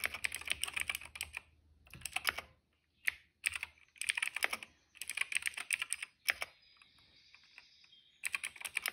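Fingertips of both hands type on a retro-style cream plastic mechanical keyboard with black and purple keycaps. Bursts of rapid, crisp, bright clicks come in short runs separated by brief pauses. A faint high tone hangs in a quieter gap before the typing resumes.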